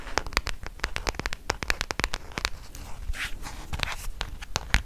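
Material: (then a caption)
Plastic. Fingernails tap rapidly on the plastic back of a black smartphone held in both hands. About two dozen sharp, dry clicks with bright tops land in quick, uneven bursts, each dying almost instantly. A softer scratchy rustle fills a short gap in the middle.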